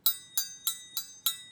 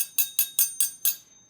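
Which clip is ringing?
The first.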